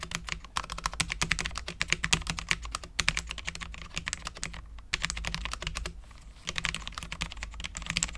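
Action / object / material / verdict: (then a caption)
tap / low-profile mechanical keyboard, ABS plastic keycaps on steel plate / ABS plastic / none. Both hands type continuously with their fingertips on a full-size, low-profile Cherry MX10.0 mechanical keyboard with Cherry LP switches, dark ABS keycaps and a steel plate. The result is a fast, bright stream of short, crisp clacks centered around 2.4 kHz, with brief lulls around 3, 4.8 and 6.3 seconds. A steady low hum runs underneath.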